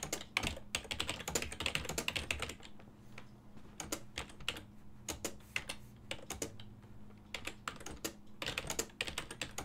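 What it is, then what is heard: Plastic computer keyboard being typed on. Fingertips type on a full-size black and silver plastic ergonomic desktop keyboard with hollow key switches. Bursts of quick, bright, clicky keystrokes come in irregular runs with short pauses, each tap dying almost at once. A faint steady low hum sits underneath.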